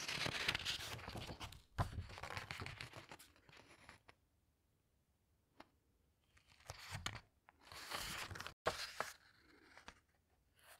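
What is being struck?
Glossy paper pages of a hardcover book.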